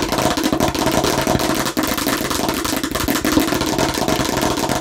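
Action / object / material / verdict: tap / plastic toy watermelon slice / plastic / none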